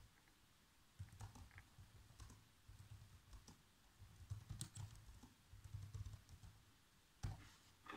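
Fingertips with short nails type fast across the keys of a black plastic chiclet laptop keyboard. Soft, quick taps and clicks come in uneven bursts, each with a dull low thump and a faint bright tick that dies away almost at once.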